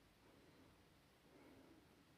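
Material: Nothing is struck.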